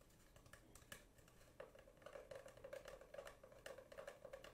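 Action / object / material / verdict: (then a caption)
tap / cardboard tube / cardboard / none. Long painted nails tap along a long, hollow, empty brown spiral-wound cardboard tube held horizontally. The result is a quick, quiet patter of light, dry taps with a hollow ring around 570 Hz. The taps grow denser and louder after the first second and a half.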